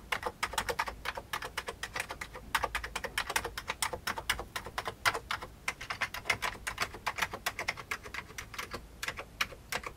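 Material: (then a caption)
Plastic. Both hands type with their fingertips on an old beige plastic computer keyboard. A steady, rapid run of sharp, bright plastic key clicks with very short decay fills the clip, over a faint low background hum.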